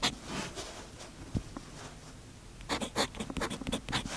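A steel fountain pen nib scratches across the page of an open paper notebook lying flat on a desk, half covered by a patterned fabric sheet, in continuous, steady writing strokes. Soft, bright scratching is heard, with a quieter stretch in the middle before a dense burst of quick strokes toward the end.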